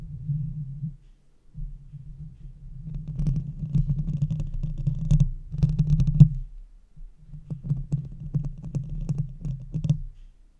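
Long red-painted fingernails of both hands scratch and tap the large, hollow metal mesh grille of a silver Blue Yeti microphone. A deep, muffled rumbling scratch is broken up by clusters of sharp, bright clicking taps. Two short silent pauses split the sound into three stretches.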